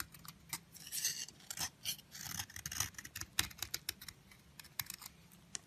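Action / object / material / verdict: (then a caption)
scrape / bar soap scraped with a metal blade / soap / none. A long, narrow stick of solid yellow bar soap held in the fingers is scraped by a metal utility blade that shaves off crumbly curls, which fall onto a pile of blue and red soap crumbs. Quiet, bright, crisp scraping and crackling comes in short bursts and sharp ticks.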